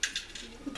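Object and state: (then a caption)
Nearly empty coin bank. A purple pig coin bank holding only a few quarters is shaken, giving four quick, bright metallic clinks of coins against the inside. The sparse rattle sounds nearly empty, since the bank needs more quarters to cover a shelter's laundry costs.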